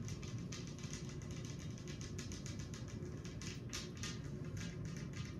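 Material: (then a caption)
Glass. Long acrylic nails tap on a large, flat, solid glass tabletop with both hands while rings are worn. Quick, bright clicks come in a steady, rapid stream over a constant low hum.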